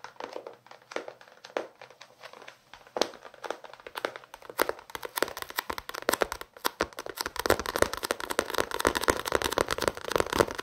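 Fingertips and nails tap and scratch the paper cover and spine of a small paperback novel. Sparse, crisp clicks give way to a denser run of dry scratching and rustling taps in the second half, with very little low end.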